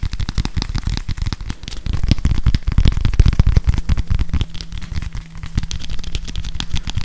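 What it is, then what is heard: Plastic whiteboard eraser with felt pad. Fingers tap and scratch the plastic back of a grey whiteboard eraser with a felt pad and a barcode label, held in both hands close to a microphone. The result is a dense, uneven stream of quick, deep, muffled thumps with light scratchy rustling and almost no ring. A faint steady low tone runs underneath in the second half.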